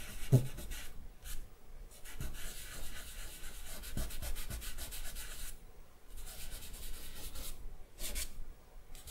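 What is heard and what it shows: Bare fingertips rub across a charcoal-covered sheet of drawing paper lying on a wooden table, blending the charcoal. The clip is a soft, steady dry rubbing hiss that comes in repeated strokes with short pauses between passes, with a faint low thump as a stroke begins.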